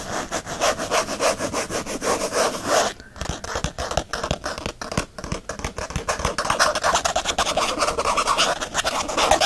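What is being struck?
Faux leather planner cover.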